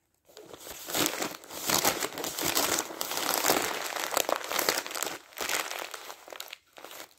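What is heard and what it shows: Loose, crumpled glossy magazine paper lying on top of a stack of magazines is grabbed and crushed in the hand with the fingers. The result is a bright, dense crinkling and crackling that swells and fades irregularly. It dips briefly a few times before a final quieter burst at the end.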